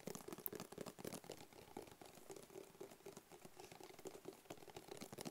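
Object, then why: Rigid cardboard box. Fingertips and nails tap rapidly on a hollow, medium, black rigid cardboard box with a barcode sticker. The quiet, uneven patter of soft, dull knocks carries a faint hollow tone around 400 Hz, with bright clicking edges from the nails.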